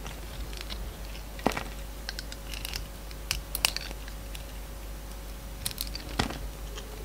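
A yellow box cutter shaves and cuts a solid bar of soap with blue glitter on the outside and light blue inside. Crisp, crunchy scrapes and sharp bright cuts come at irregular intervals over a steady low hum and a faint constant mid tone.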